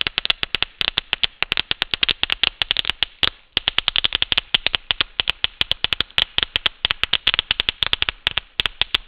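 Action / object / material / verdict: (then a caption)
shake / synthetic lace fabric sheet / synthetic lace / none. A large, thin, sheer beige synthetic Swiss lace mesh sheet is held up by the fingertips of one hand and shaken and rustled. It makes a rapid, steady stream of crisp, dry crackles and scratchy ticks, bright and high with almost no low end, with one brief pause about a third of the way through.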